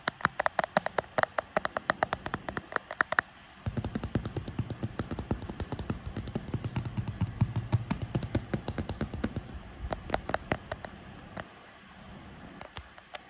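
A solid, hand-sized smartphone in a translucent grey-lilac frosted plastic case with a pink metal camera surround is held upright in both hands while short red-painted fingernails tap and drum on the back of the case. Crisp, dry clicks come in rapid bursts, with each tap stopping almost instantly. From about 3.5 to 11.5 seconds, a low steady hum runs beneath the denser tapping.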